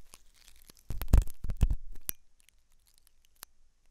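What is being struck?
Silicone ear model scraped with a metal pick.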